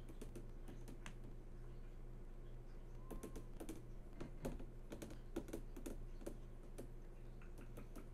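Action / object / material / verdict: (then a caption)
tap / flat-screen TV glass panel / glass / none. Long nails and fingertips tap across the hard, glossy surface of a large flat-screen TV that is switched on and showing a menu. Quick, dry, clicky taps come in uneven runs, some sharper and brighter, over a steady low hum. The taps are quiet and die away almost instantly.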